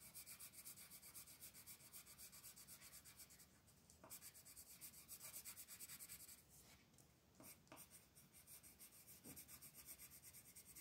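A magenta colored pencil shades a flat paper coloring book page in continuous scratching strokes. The quiet, rhythmic rubbing is bright and high-pitched, easing briefly around four and seven seconds before the strokes resume.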